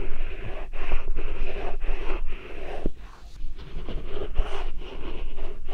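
A medium-sized, solid, whole yellow Korean melon (chamoe) is held in both hands beside a binaural microphone while fingertips and nails rub and scratch its smooth rind. The result is a close, steady rasping and scraping in repeated strokes with brief gaps between them, carried on a deep low rumble.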